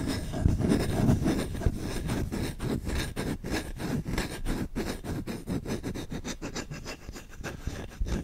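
A solid wooden spoon is scratched with fingertips, first along the bowl and then along the handle. Fast, rough, repeated scratching strokes come in an uneven rhythm, with a low, dull body and little brightness.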